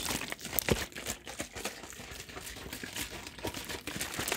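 A large plastic soft-drink bottle of about two litres, partly full of pale liquid and held in one hand, is squeezed, crinkled and shaken. Dense, bright crackling and crinkling runs throughout, with a few sharper, louder crunches near the start. The sounds are short and dry, with almost no ring.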